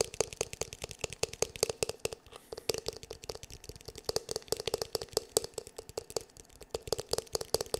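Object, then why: Plastic paddle hair brush back. The glossy black hollow plastic back of a paddle hair brush, held in both hands, is tapped rapidly with fingertips and nails. The taps are dry and clicky, with a hollow tone around 440 Hz and bright nail ticks. They run in quick uneven bursts with a short lull just past two seconds.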